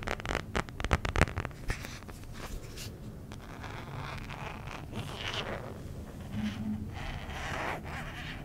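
An empty, thin-walled, transparent soft plastic smartphone case is held close to the mic and tapped and scratched with fingertips and nails. A burst of sharp, crisp taps in the first two seconds gives way to softer, continuous scratching and rustling with a low, dull body.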